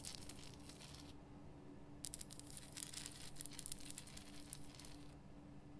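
Long painted nails scratch the rough surface of a large, solid, lit pink rock-salt Himalayan salt lamp, making bright, high, crackly scraping rasps. A short burst of scratching is followed by a pause, then a longer stretch of dense scratching over a steady low hum.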